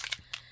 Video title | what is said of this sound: Mixed Media, Envelope Flip page in the Gothic Poe Journal @myporchprints-junkjournals | you hear that little metal ball in there going to town